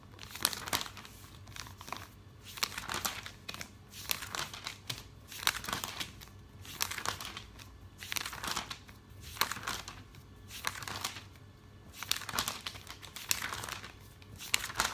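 Fingertips with painted nails rub along the pages of an open glossy paper catalog and turn them. Bright, crisp crinkling comes in repeated swells, with quiet rustling in between.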